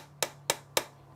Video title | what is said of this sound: Sunday afternoon Stream Catch up and finishing of some odd jobs. | that sort of an empty sound